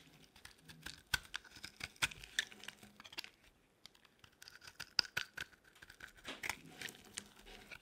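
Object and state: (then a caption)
Dry bar soap being shaved. A metal blade shaves curls from the edge of a solid, cream-white bar of dry soap held in the palm. A quiet series of crisp, bright scraping and crackling strokes is heard, each short and dry with almost no ring, separated by brief pauses.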